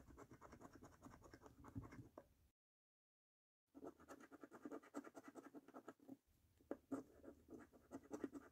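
A coin held in the fingertips scratches the coating off a thin, flat paper lottery scratch card lying on a dark table. It makes quick, dry, rasping strokes that stop for about a second of silence, then resume with a brief dip before a final burst of sharper scrapes.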